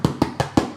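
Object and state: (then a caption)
Hollow-sounding, baked-through sourdough loaf. A small sourdough loaf, baked for 30 minutes and turned over, is tapped four times on its bottom crust. Each tap gives a short, hollow, low knock. The hollow sound shows the loaf is baked through, with a lovely crust.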